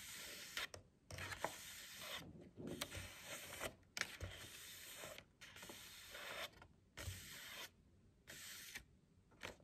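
Long nails scratch and tap the surface of a stiff cardboard book cover with a printed pattern, held upright on a table. Bright, papery scratching comes in bursts separated by short quiet pauses, with sharp little taps now and then.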